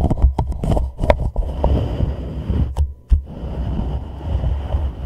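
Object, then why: Empty plastic cup tapped and rubbed with fingertips. An empty, hollow, palm-sized white plastic reusable cup sits upside down over a microphone head while fingertips and short nails tap and rub its sides. Sharp taps cluster in the first second and around 2.8 and 3.1 seconds over a deep, muffled rumble of rubbing. The sound is boomy and low-heavy, with brief, dead clicks that barely ring.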